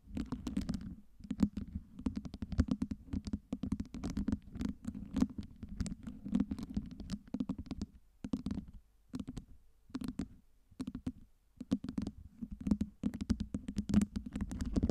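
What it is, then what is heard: Acrylic LED ice cubes tapped and scratched with nails. Long nails tap and scratch across the top and sides of a stack of small, solid acrylic fake ice cubes lit with colored LEDs. Rapid bursts of crisp clicks and scraping ride on a dull low knock, broken by brief pauses. Each tap stops almost instantly, with no ring.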